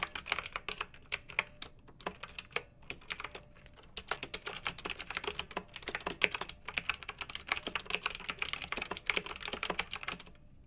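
Two hands type with their fingertips on a pink backlit, typewriter-style plastic mechanical keyboard with round metal-rimmed keycaps. Dense, rapid, bright clicks and clacks follow one another in an uneven rhythm for about ten seconds, with short pauses between bursts. Each keystroke stops almost instantly.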